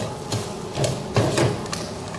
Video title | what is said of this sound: Le praliné au sucre cuit amande noisette | vous entendez là les fruits, ça chante un petit peu, c'est que ça commence à venir, donc il faut être vigilant